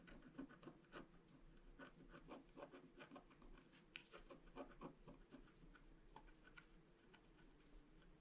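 A pointed wooden stylus scratches along the outlines of a flat rainbow-foil scratch art card, a black wax-coated paper card held down by one hand. Quiet, irregular strokes of dry scratching and rasping come in short bursts, with brief bright scrapes over a low, steady background.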